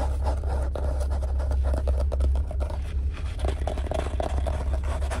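Fingertips and nails rapidly tap and scratch the stiff cardboard cover of a yellow spiral-bound Strathmore sketchbook, about A4 size, held flat and close to the camera inside a car. Quick, uneven dry scrapes and soft taps run continuously over a steady low hum around 94 Hz.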